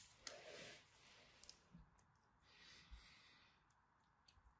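A craft blade scores lines into a solid orange-and-white striped dry soap bar and chips off small pieces. Soft, bright scraping hisses swell and fade, broken by a few sharp little clicks as the chips break away.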